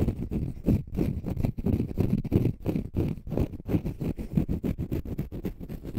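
Fingernails scratch the rounded side of a palm-sized, pale green konjac fiber facial sponge that is solid and porous. The result is a rapid, uneven run of low, muffled rasping strokes with a deep rumbling body and almost no high sizzle, each stroke ending abruptly.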